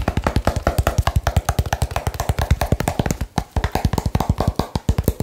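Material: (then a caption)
Cardboard. Fast fingertip tapping on a small hollow cardboard box produces a rapid, steady stream of short, dull thumps with a deep, boomy body and almost no high end. The strikes stay separate, with a brief pause near the middle before the tapping resumes at the same pace.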